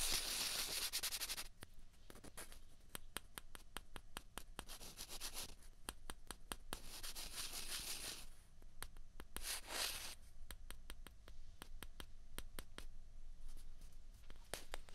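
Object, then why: Two plastic ping pong balls. Two small hollow white plastic ping pong balls, held in both hands, are rubbed and tapped against each other with the fingers. Soft, bright scraping bursts alternate with a quick, irregular run of sharp little clicks and taps, all at a quiet level.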